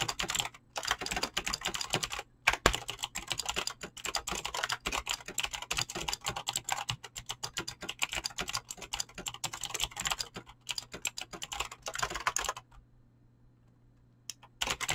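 Fingertips type fast on a Razer BlackWidow mechanical keyboard with clicky green switches and pink-blue dyed PBT plastic keycaps, making a dense run of sharp, bright, short clicks with a faint low hum underneath. The typing pauses briefly twice, stops near the end for about two seconds, then resumes with a few more clicks.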